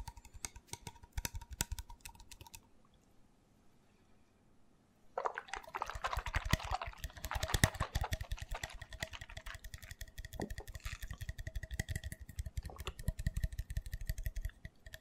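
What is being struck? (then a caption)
Small plastic shot bottle. Fingers and nails tap fast on the label and white neck of a small, hollow, open green plastic L-carnitine shot bottle, likely empty. Quick, dry clicks with a soft low thump come in a short burst, then pause for a moment. A dense, continuous run of rapid tapping follows, with brighter, hollow-sounding taps until the end.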